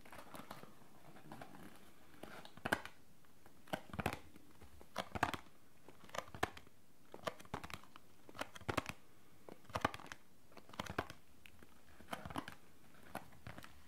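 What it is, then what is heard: Cardboard tea box. A small, hollow Lipton Earl Grey tea bag box of thin printed cardboard is held in the hands and tapped and scratched with fingertips and short nails. Quiet, dry taps and scratchy crinkles come in short bursts with brief pauses between them, each sound dying away almost at once.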